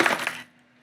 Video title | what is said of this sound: Unboxing the Lunkerhunt Edition of Monsterbass Platinum - You Won't Believe What We Found! | I can still hear the rattle just a little bit. And, you know, the stuff is still moving inside here